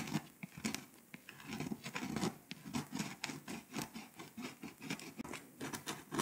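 A pink scraper tool scratches the foil coating off Lithuania on a flat, foil-coated paper scratch-off map poster. Quick, dry scraping strokes rasp and patter in a steady rhythm, with a bright, gritty edge over a soft low rustle.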